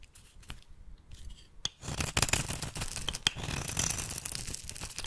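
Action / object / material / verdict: scrape / bar of soap / soap / none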